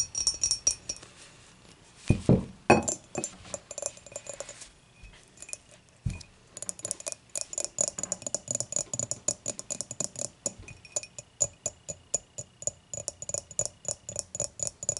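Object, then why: Glass beer mug. Long matte mauve nails tap and scratch the dimpled sides of an empty, hollow, clear glass beer mug with a handle, lying on its side. A quick run of bright, short glassy clinks and scratchy ticks plays throughout, with a few louder, fuller knocks early on. Each hit dies away almost at once.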